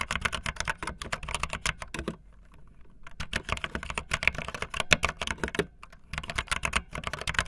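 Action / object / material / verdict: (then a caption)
tap / plastic mechanical keyboard / plastic / none. Fingertips with long nails type fast on a backlit optical linear plastic mechanical keyboard with white and blue plastic keycaps. Rapid bursts of bright, sharp clacks with very short decay are broken by two brief pauses where only a faint hush remains.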